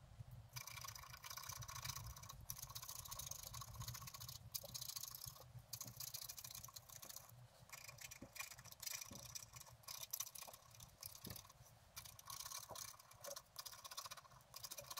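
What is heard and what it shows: A wooden stylus scratches the black coating off a flat scratch-art paper card on a table while the other hand steadies the card. The result is a steady, bright, dry scratching with short pauses between strokes over a faint low rumble.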